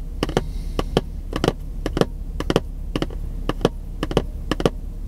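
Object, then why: Cardboard box. Fingertips tap and scratch the printed surface of a long, narrow cardboard product box held in one hand, which looks empty or lightly filled. The result is a quick, uneven series of short, dry, hollow taps with a mid-range tone and almost no ring. They sit over a steady low background rumble, with faint scratchy rustles between them.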